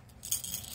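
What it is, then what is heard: Plush toy with a rattle inside. A child's unicorn lovey, a soft plush toy, is shaken, giving off a quick, bright, high-pitched rattle for under a second. The rattling shows there is a rattle insert inside the toy, which stays unopened.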